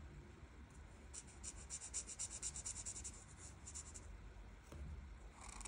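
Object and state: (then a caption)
Marker colouring on a paper sheet. The felt tip of a plastic art marker rubs back and forth on a flat printed paper coloring page, a solid sheet, filling in leaves. A run of quick, bright, scratchy strokes rises over a low, steady background rumble, then fades to a softer, quieter rubbing toward the end.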